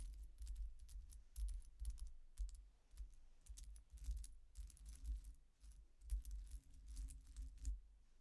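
Long nails tap, scratch and rake the thin solid metal discs of a silver-coloured metal coin-disc statement necklace with chains lying on a dark cloth table. The result is a steady run of quick, bright metallic clicks and soft jingles that die away almost instantly, over a low, dull rumble.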